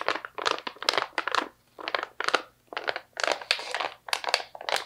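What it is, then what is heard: Plastic snack pouch of almonds. A medium stand-up plastic snack pouch, partly full of slivered almonds, is squeezed and scratched by long nails. It gives bursts of dry, bright crinkling and crunching, separated by short quiet gaps.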